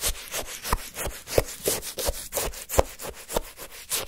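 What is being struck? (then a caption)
Frozen orange sherbet in a paper cup, scraped by a wooden stick. A wooden stick scrapes, scoops and churns frozen, crushed orange shaved-ice sherbet in a paper cup. The result is a run of irregular, crunchy, gritty scraping strokes with bright hiss and short sharp crackles.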